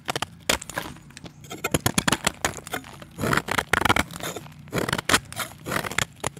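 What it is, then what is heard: Chalk block scraped with a blade. A utility knife blade scrapes the surface of a solid, round, pale chalk disc held in the hand, shedding powder as it goes. Short, dry, gritty scraping strokes come in quick irregular bursts with a bright crackly texture, each ending almost instantly.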